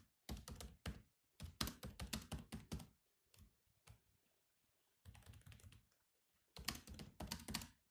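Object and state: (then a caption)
Laptop keyboard with plastic keys. Both hands type on a grey laptop keyboard with black plastic keys, fingertips tapping out quick clicky keystrokes. The taps come in rapid bursts separated by short pauses, each with a low thump and a bright click that stops almost at once.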